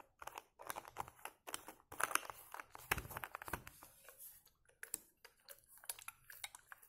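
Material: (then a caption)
Plastic. A hollow white plastic bottle with a blue screw cap is held up close while fingers work near the cap and tap and scratch its body. Quick, dry taps and crinkly scratching come in bursts, with brief gaps between them. There is little low end and almost no ring.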